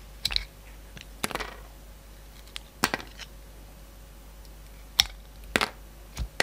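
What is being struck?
Bar of soap cut with a knife blade.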